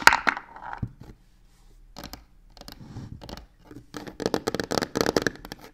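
Long nails rapidly tap and scratch the side panel of a medium hollow box covered in black embossed crocodile-texture faux leather with stitched edges. Dry, short taps mix with scratchy, crinkly rasps, coming in uneven bursts with quiet gaps between them. Each sound stops almost at once with no ring.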